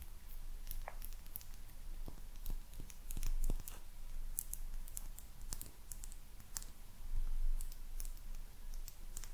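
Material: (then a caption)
Glazed ceramic. Long nails tap the glaze of a small, hollow, glazed ceramic maneki neko lucky cat figurine. Many quick, bright clicks and taps come at an uneven pace over a steady low hum, each dying away almost at once.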